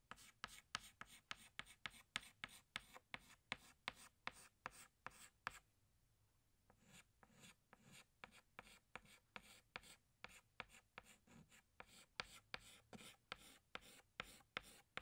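A yellow chalk stick is rubbed in short strokes across a flat black chalkboard. It makes a quick run of about 34 sharp, bright scratches with a high rasp and almost no low end. The strokes pause for about a second partway through, then resume at the same steady pace.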